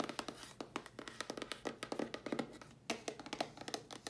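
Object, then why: Closed cardboard box tapped with fingernails. A closed, hollow dark grey cardboard box is tapped with long nails on its lid and on its held sides. It gives a quick run of about 28 dry, clicky taps with a hollow midrange body, almost no bass, and a very short decay.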